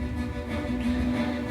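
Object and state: Nothing is struck.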